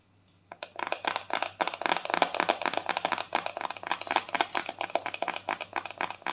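A round, white, palm-sized plastic cosmetic jar is tapped quickly with long nails on its lid and sides. After a brief silent start, dozens of rapid, irregular, dry clicks follow with almost no ring. Each tap has a hollow tone of about 750 Hz and a bright, crisp edge.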